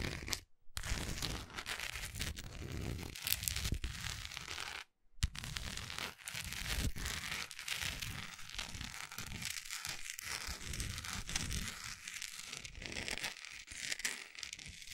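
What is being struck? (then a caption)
Wax pillar candle. Long acrylic nails tap and scratch the side and top of a large, solid orange wax pillar candle with its wick showing. The result is a dense, crackly run of quick taps and scraping that spans deep thuds to bright hiss. Two brief silences break it near the start and around the five-second mark.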